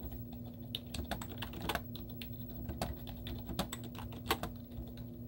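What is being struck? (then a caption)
Plastic computer keyboard. Both hands type continuously with the fingertips and short painted nails on a white plastic computer keyboard with hollow keys and cartoon stickers on them. The result is a quick, uneven run of light, clicky taps with bright, hollow clacks, over a steady low hum.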